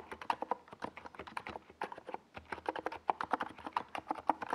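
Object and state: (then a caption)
Plastic mechanical keyboard. Fingertips type continuously on a NiZ Plum Atom 68, a small 68-key mechanical keyboard with a white plastic case and purple and yellow Domikey Gas Attack SA plastic keycaps, resting on a desk pad. A steady run of quick, dry keystrokes is heard, each a short clack centered around 850 Hz that dies away almost instantly, with a brief pause near the middle.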